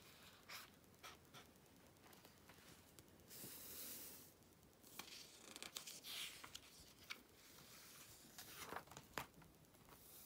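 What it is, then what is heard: Glossy magazine pages. A Vogue magazine with thick glossy paper pages lies open and flat on black fabric while fingertips with long red nails stroke and rub the pages flat, then lift and turn them. The sound is soft, bright paper swishing and crinkling, with short sharp ticks from the nails and a louder rushing sweep as a page turns.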